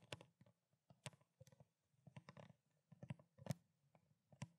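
Fingernails rapidly tap and scratch along the ridged body of a small, clear plastic water bottle, held horizontally with water inside. Quiet, dry clicks and scrapes come in uneven bursts, each with a low, hollow thump and a bright, crisp edge that stops almost instantly.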